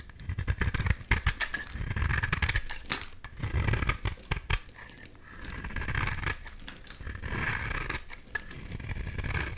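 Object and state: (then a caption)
Bar of soap scraped with a blade. A solid, bright green oval bar of soap is held in the hand and scraped with a box-cutter blade, peeling off crumbly shavings. Dense, crackly scraping sounds come in quick rasping strokes with a deep low rumble underneath. Bursts alternate with softer, steadier stretches of scraping.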